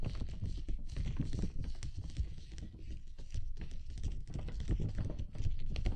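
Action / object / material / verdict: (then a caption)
tap / plastic dome umbrella canopy / plastic / none. Fingertips tap on a large, clear plastic dome umbrella canopy held over the microphone, then hands from the side scratch and rub its surface. The result is a steady run of soft, dull, low thumps under a faint, bright, scratchy rustle, with each tap dying away almost at once.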